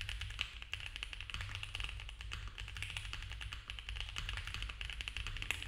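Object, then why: Mechanical keyboard with plastic keycaps. A compact mechanical keyboard with cream ABS plastic keycaps on a dark case, a polycarbonate plate and foam filling is typed on fast with the fingertips of both hands. It produces a dense, continuous stream of short, crisp clacks with a bright, high-pitched edge, peaking around 2.6 kHz, over a steady low rumble. Each tap dies away almost instantly.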